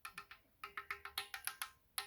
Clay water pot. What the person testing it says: it has to make this this metallic sound